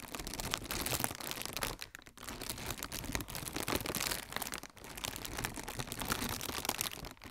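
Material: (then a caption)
Plastic. Fingertips with red nails stretch and crinkle a hollow strip of blue plastic air cushion packaging. The result is a dense, continuous crackling and crinkling with bright, crisp texture, pausing briefly around two seconds and again near five seconds before resuming.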